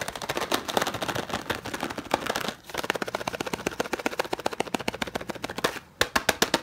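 A closed, hand-sized green and yellow Knorr cardboard bouillon cube box is tapped rapidly with the fingertips. The result is a dense, fast run of dry, papery clicks with short decay, pausing briefly twice before the last quick taps.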